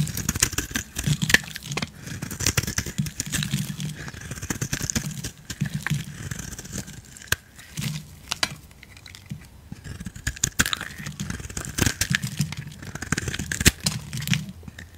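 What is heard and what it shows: A solid yellow bar of soap held in the hand is carved and scraped with a utility knife blade, shaving off flaky curls. Continuous dry scraping and crackling cuts are heard, with sharp clicks over a low rustle and bright, crisp edges on each stroke.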